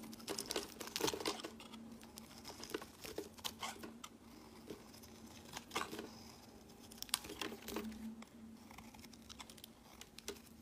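A solid light-green bar of soap with an embossed logo is held in the hand and shaved with a utility-knife blade. The clip is full of quick, crisp, crinkly scraping strokes with a bright edge, bunched in short bursts over a faint steady low hum.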